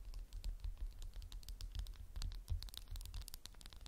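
A candle in a textured glass jar is tapped with fingernails in a quick, uneven flurry. Each tap is a short, bright click that dies away almost at once, over a steady low rumble.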